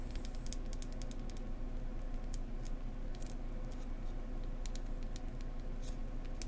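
A beehive-shaped beeswax candle is tapped gently up close with fingertips, including some scratchy tapping. The result is soft, irregular taps and light scratches with bright clicks, heard over a steady low hum at an even level.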